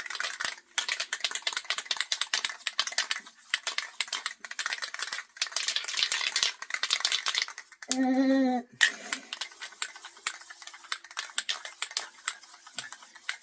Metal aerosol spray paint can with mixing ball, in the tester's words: you got to shake it till you hear the ball